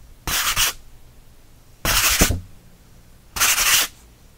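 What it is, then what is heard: Cotton watercolor paper being scratched. A thick, rough-textured cream sheet of cotton watercolor paper is held in one hand while the fingertips and nails of the other hand rub and scratch it. Three separate bursts of dry, hissy scratching are heard, each about half a second long and bright in the high frequencies, with quiet pauses between them.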